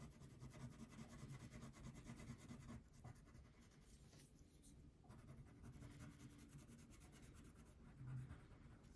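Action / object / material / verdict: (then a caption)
scrape / wax crayon on a thin paper sheet on a table / paper, wax / none. A red-pink wax crayon rubs back and forth across a thin paper coloring sheet resting on a table. The strokes make a quiet, steady, scratchy rubbing with a low, soft body and a faint bright hiss, easing slightly in the middle before picking up again.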